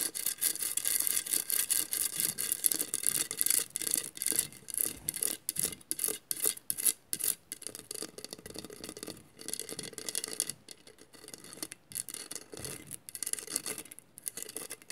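Long nails on both hands scratch across a hollow glass mosaic vase, making rapid, irregular, bright rasping strokes that sound much like brushing. The scratching is louder and more clipped for the first half, then turns softer and more continuous.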